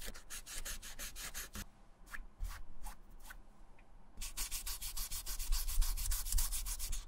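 A small dark sanding block or suede eraser is rubbed firmly over the dry grey suede upper of an Adidas running shoe, held in bare hands, near the sole and heel. Quick, bright, scratchy rasping strokes come in a fast run, thin out to a few slower strokes in the middle, then return quicker and louder to the end.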